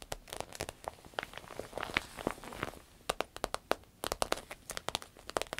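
Long red acrylic nails scratch, tap and crinkle the glossy clear vinyl coating of a medium-sized, soft, hollow green paisley fabric purse lying flat. A rapid, uneven series of sharp, dry taps and clicks mixes with crisp crinkling and scratchy rustle, bright with almost no low end. Each hit stops almost instantly.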